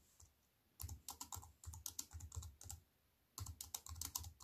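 Fingertips with long nails type on a compact plastic computer keyboard with black plastic keys set in a silver aluminium frame. Quick bursts of bright, clicky taps, each with a soft low thump, run for about two seconds, pause briefly, then resume for the final second. The keystrokes are quiet and short, with almost no ring after each press.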